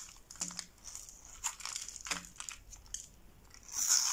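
A metal box-cutter blade scrapes and shaves a hand-held, solid rectangular bar of dry light-blue soap scored in a grid, sending brittle flakes and slivers falling into a pile below. Dry, crisp crunching and scraping strokes come in quick, bright bursts with almost no low end. The clip ends in a louder, sustained hissy scrape.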